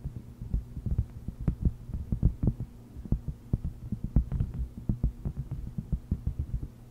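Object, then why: Thin silicone mat. Long red nails tap and scratch a flat, thin, solid, palm-sized purple heart-shaped silicone mat with a honeycomb texture resting on a fluffy microphone cover. A quick, uneven run of short, dull, muffled thumps sounds almost entirely in the low range, with a soft scratchy texture between taps. A steady low hum sits underneath.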